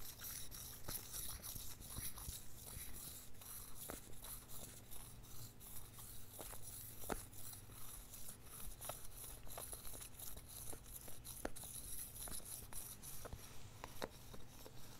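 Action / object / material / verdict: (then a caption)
scrape / small plastic lip balm tube with cap / plastic / none. A small red and white Labello lip balm stick, a hollow plastic tube with a cap, is held in both hands close up and rubbed and scratched with fingertips and nails. Soft, steady scratching and rubbing textures continue over a low rumble, broken by short, sharp plastic taps and clicks that recur at a loosely regular pace.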